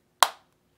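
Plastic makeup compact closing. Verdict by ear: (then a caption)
Lightweight. A Charlotte Tilbury plastic makeup compact is snapped shut with a single sharp, high click that fades within about two tenths of a second. The bright tone sounds cheap and lightweight, higher than a heavier compact.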